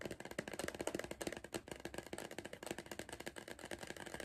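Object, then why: Cardboard crisp tube. Fingertips of the hand gripping a tall, hollow cardboard Pringles crisp tube tap rapidly along its side. The result is a quick run of short, dry taps with a hollow mid-range tone that die away almost at once.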